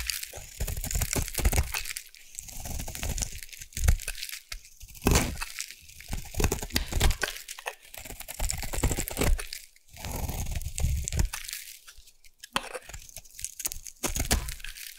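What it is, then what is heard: Bar soap being carved. A solid round orange bar of soap, held in the hand, is scraped with a metal blade into curls. Crunchy, crinkling scrapes come in repeated bursts with short pauses between strokes, heavy in low rumble with a bright hiss on top.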